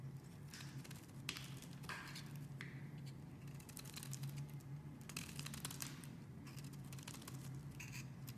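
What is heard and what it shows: A metal blade carves a pink solid oval bar of soap held in the hand, cutting off chunks and shavings. Quiet, dry scraping and crisp crackling bursts come in irregular strokes over a steady low hum.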